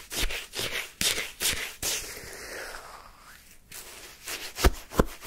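A wooden spoon held by fingertips digs, scrapes and scoops pale yellow, slushy lemon sherbet shaved ice in a paper cup. Crisp, crunchy scraping bursts with bright icy hiss repeat irregularly. A quieter, smoother stretch comes in the middle, then sharper crunching picks up again at the end.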